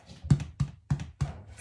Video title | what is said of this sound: Honey Oat Sandwich Bread! | when you tap on it sounds hollow so we knew it's baked